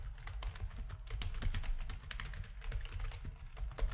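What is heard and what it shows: Fingertips of both hands type rapidly on a full-size black plastic backlit RGB gaming keyboard with a hollow housing. The result is a dense, continuous stream of short, dry clacks with a deep, thumpy low-end body and brief bright tick edges that die away almost instantly.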